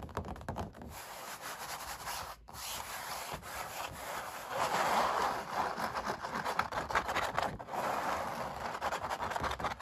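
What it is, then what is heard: Oil painting on stretched canvas. Fingertips and long black nails rub and scratch across a painted puppy oil painting on stretched canvas. The result is a steady, dry, papery scratching and rubbing texture centered in the midrange with some bright grain, swelling louder around the middle of the clip.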